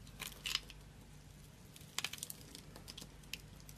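A small metal blade scrapes and cuts a solid, hand-sized bar of dry orange soap held in one hand, with crumbling pieces falling onto a pile of soap bits. Quiet, bright, crisp scratching and crunching come in irregular bursts, strongest near the start, the middle and toward the end, over a faint low hum.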